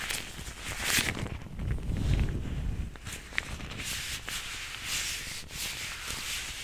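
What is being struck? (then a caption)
Nitrile gloves. Thin blue nitrile gloves worn on both hands are pulled on and stretched, and the gloved fingers rub together close to a furry microphone without touching it. The clip is a continuous rubbery rustling and squeaking with bright, hissy bursts, plus a low muffled rumble that swells around the two-second mark.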